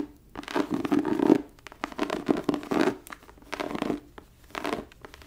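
Long nails scratch and drag across the textured cover of a thick, embossed, tooled leather book lying flat. The result is a series of dry, rasping scratch strokes that swell and fade, with a gritty mid-range body and brief quiet gaps between passes.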